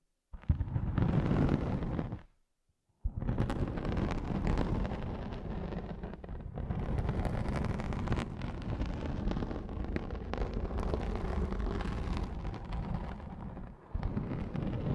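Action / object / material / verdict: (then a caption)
scrape / felt pad / felt / none. Long glossy nails scratch and tap a large round grey felt sheet with a stitched edge that lies flat, probably over the microphones. The result is a dense, deep, muffled rumble of brushing and thudding taps. A brief silence falls after about two seconds before the scratching resumes steadily.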